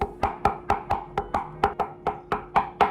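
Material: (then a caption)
Composite. Thirteen quick, evenly spaced knocks on a Joola Gen 3 Perseus 16mm composite pickleball paddle with a hollow propulsion core give short, hollow, wood-block-like taps with a mid pitch near 790 Hz and very little ring. The paddle sounds hollow and cheap, more like a toy than a $280 paddle, because of the hollow core; the 14mm version sounds less bad since there is less space inside.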